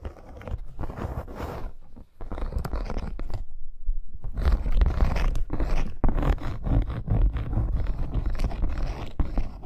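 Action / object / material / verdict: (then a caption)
scrape / embossed faux leather wrist bracer / faux leather / none. A dark red snake-embossed faux leather wrist bracer with metal eyelets and studs, lying flat on pink fur, is scratched rapidly with long acrylic nails. Dense, irregular scratching and scraping with a deep, rumbling low end continues throughout, pausing briefly near two seconds and again between about three and four seconds.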